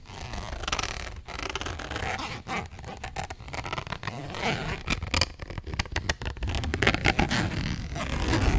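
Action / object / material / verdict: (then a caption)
scrape / printed cardboard box / cardboard / none. A flat, purple printed cardboard eyeshadow palette box, held close, is scratched and tapped with long nails. It makes an irregular run of dry, rustling scratches and quick soft taps with a dull, low-heavy body and a papery high edge, each sound dying away almost at once.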